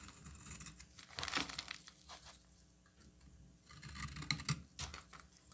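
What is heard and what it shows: A solid green bar of soap is scraped and cut with a metal utility knife blade, shaving off fine slivers. Soft, dry scraping and crisp crackling come in bright, closely spaced bursts, with a low hum underneath and a quieter stretch in the middle.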